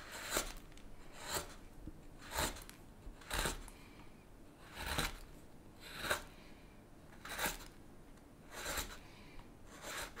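A blue-handled straight chisel is pushed along the handle of a solid, light-colored basswood spoon blank held on a cutting mat, shaving and scraping the wood. Short, bright, raspy scraping strokes repeat roughly every second over a quiet background.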